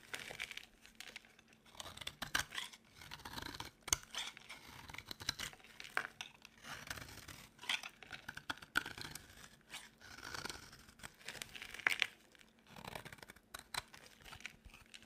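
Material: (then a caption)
Soap. A utility knife blade shaves a dry, solid white oval soap bar into curled shavings. Crisp, bright scraping and crunching cuts come in quick bursts, each dying away almost at once, with little low end.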